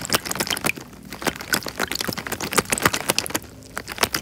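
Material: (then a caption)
Plastic. A small clear plastic bag full of water is squeezed and rubbed by fingertips in front of a microphone. Bright, crinkly plastic crackles and soft watery squishes come in quick, irregular bursts, with brief quieter pauses between them.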